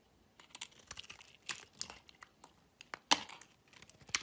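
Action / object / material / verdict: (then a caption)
scrape / bar of soap / soap / none. A solid orange-and-white striped bar of soap is held in the hand and scraped with a metal utility knife blade. The result is a quiet, irregular series of short, dry, crinkly scraping strokes, mostly bright and high with almost no low end. The loudest scrape comes near the three-second mark and another near the end.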